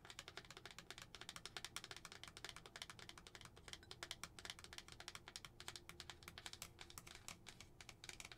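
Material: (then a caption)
Glass. Long nails, one finger wearing a plastic spider ring, tap quickly on the wall of a lidded glass tumbler filled with white tissue, with a paper pumpkin tag hanging on the front. The result is a quiet, steady stream of rapid, bright, clicky taps that die away almost instantly.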